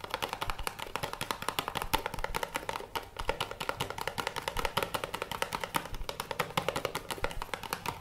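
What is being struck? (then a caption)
Small cardboard box. A small, hollow, teal printed cardboard box, held in both hands, is tapped and scratched with fingertips and nails. The result is a rapid, steady stream of short, dry, hollow taps with a mid-pitched resonance around 890 Hz and bright scratchy edges, each hit dying away almost instantly.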